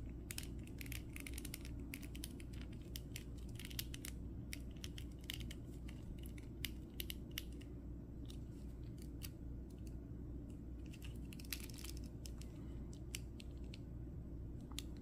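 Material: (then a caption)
Plastic. A small red plastic 2023 Flash action figure is held in the hands while fingertips press its chest and rotate its leg and arm joints. Many sharp, bright ratcheting clicks rise over a steady low hum.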